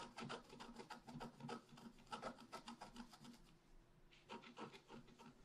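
A wooden stylus scratches small marks into the lower right of a flat, black-coated scratch art paper sheet. It makes quiet, dry rasping strokes in quick, uneven bursts of about three per second. A brief lull near the middle is followed by more scratching.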